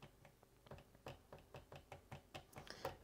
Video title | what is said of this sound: MSI GE60 2PE Apache Pro Review [HD] | if I just tap it it kind of like rattles within this section here